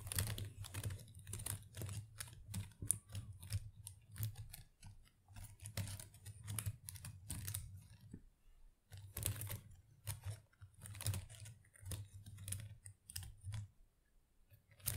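Long acrylic nails scratch and tap through a dense, boxwood-style artificial plant with small plastic leaves in a pot. Rapid, dry, bright clicks and crackling rustles come in uneven bursts over a steady low hum, with a brief lull just before the midpoint and a quieter stretch near the end.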